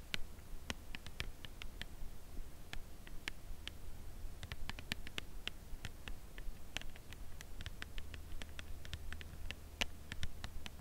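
A white Lindt Creation Crème Brûlée cardboard box holding a chocolate bar is held upright and tapped with long acrylic nails. The taps are quick, irregular, dry clicks with a bright top and almost no ring, over a steady low hum.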